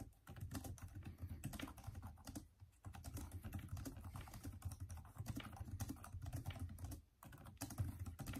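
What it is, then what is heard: Plastic laptop keyboard being typed on. Both hands type densely with fingertips on the plastic backlit keys of a Microsoft Surface tablet keyboard, making a steady stream of soft, low clicks and taps. The typing runs throughout, broken only by two brief pauses.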